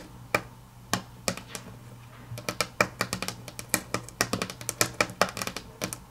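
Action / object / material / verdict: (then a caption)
tap / wood-grain laminate tabletop / laminate / none. Long natural nails tap on a flat, solid grey wood-grain laminate tabletop. A few sparse, sharp clicks speed up into a quick, irregular flurry of bright, dry taps with almost no ring, while faint music sits low in the background.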